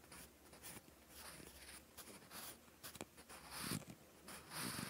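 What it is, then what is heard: Pencil writing on paper. A wooden graphite pencil tip scratches across a lined, textured cream notebook page while writing. Quiet, dry, bright scratching strokes come in uneven bursts, with brief soft taps between them.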